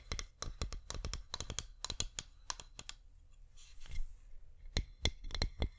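Long nails tap a flameless wax pillar candle on its side and rim, making quick, dry clicks with bright high edges and a low thud under each. The taps come in close bursts with a brief soft scratchy rustle in the middle, and each one dies away almost instantly.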